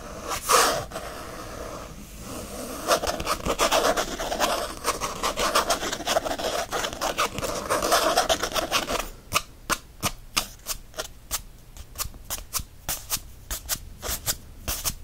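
Nails and fingertips scratch and rub fast across the flat printed faux leather cover of a disc-bound planner. For about nine seconds the sound is a dense, continuous rasping with a bright hiss. It then breaks into a quick run of separate, sharp scratch strokes with quiet gaps between them.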